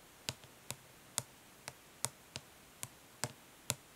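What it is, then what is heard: Plastic eyeshadow palette. Long fingernails gently tap on a closed, flat plastic eyeshadow palette lying printed lid up, its hollow case giving each tap a light, dry click. Nine sharp, bright ticks come at a steady, unhurried pace, each dying away almost instantly with a faint low knock beneath.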